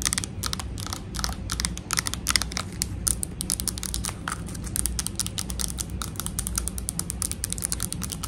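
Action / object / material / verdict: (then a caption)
tap / plastic slime tub with dome lid / plastic / none. A full, medium pink plastic slime tub with a clear dome lid is tapped rapidly with long acrylic nails on its sides and lid. The result is a fast, continuous stream of bright, dry clicking taps that stop instantly with no ring, over a steady low hum.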